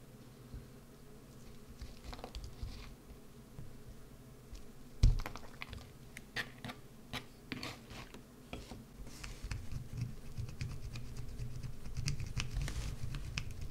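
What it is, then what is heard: Bar of soap being carved. A solid green bar of soap, held and tilted, is carved with a wood-handled gouge. Quick, crisp scratching and scraping ticks repeat over a steady low hum, with one louder knock partway through.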